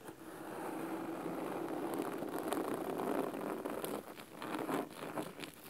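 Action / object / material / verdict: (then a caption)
scrape / cloth-bound hardcover book / cloth / none. Fingernails of both hands scratch the cloth top cover of a large red cloth-bound hardcover book resting on a wooden table. The result is a steady, crisp, dry scratching texture centered in the low-mids, with bright crackly flicks on top. It dips briefly about two-thirds of the way through, then picks back up.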